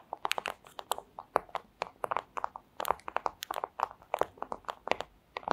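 Long acrylic nails tap and scratch a flat, thin, clear plastic pouch. The result is a rapid, uneven series of about thirty crisp, crinkly clicks and short scratches, each dying away almost instantly, with bright edges and almost no low end.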